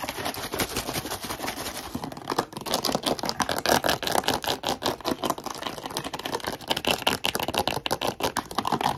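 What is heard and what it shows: An empty, crumpled, hollow clear plastic water bottle with a blue plastic cap is squeezed and tapped or scratched with short nails, including on the cap. The result is a fast, dense run of sharp, dry clicks and crinkles with a bright edge and very little low end. Each hit dies away almost instantly.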